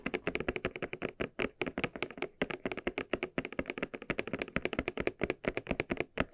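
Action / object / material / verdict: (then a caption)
tap / small leather cylinder bag / leather / none. Fingertips and nails tap the surface of a small, hollow, red croc-embossed leather cylinder bag held in both hands. Dozens of quick, distinct taps follow each other in a steady stream, each a short, dry knock with a hollow mid-range tone around 360 Hz and a crisp, bright edge that dies away almost at once.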